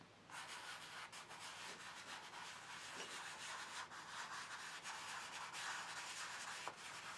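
Fingertips rub and blend chalk dust across a large black paper sketchbook page lying flat on a table. After a brief quiet start, a steady, soft, bright, papery rubbing hiss continues throughout, with small swells as the strokes change direction.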